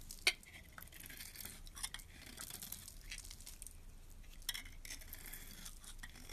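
A metal utility blade scrapes shavings off a hand-held bar of soap with a purple glitter shell and a white interior. Quiet, bright, hissy scraping runs throughout, with a few short, sharp clicks standing out. There is a strong click near the start.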